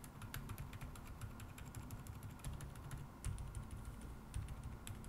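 Rapid fingertip typing with both hands on an AKKO MOD007 V3 75% mechanical keyboard with a dark metal case, white plastic keycaps and AKKO Fairy Silent linear switches, resting on a wooden table. The keystrokes land as soft, muffled low thuds with faint bright tick edges, in a quick, uneven stream.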